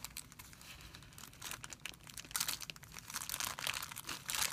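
Fingers pinch and crumple a thin, clear plastic film bag into a bunch on a white surface. A quiet, bright, dense crinkling with sharp crackles comes in irregular bursts, growing louder and harsher in the second half.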